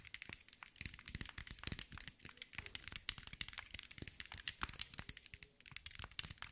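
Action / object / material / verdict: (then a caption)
tap / glass mosaic ball / glass / none. A hand-sized green mirror and glass mosaic ball is tapped and scratched with long white nails. Rapid, dense, bright clicky taps mix with crinkly scratching. The sound is quiet and dry, and each tap dies out almost instantly.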